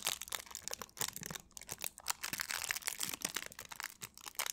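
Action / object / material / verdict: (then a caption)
scrape / thin plastic film / plastic / none. A small piece of thin clear plastic wrap held in both hands is crinkled and scratched by long nails and fingertips. The result is a quiet, dense run of bright, crackly rustles with very little low end.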